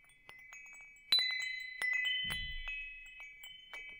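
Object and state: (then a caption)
Metal tube wind chime. A hanging wind chime with hollow metal tubes is tapped by fingertips, then held up and swayed. Bright, clear metallic tones ring out and overlap in a shimmering sustain, with a brief low thump partway through as the chime moves.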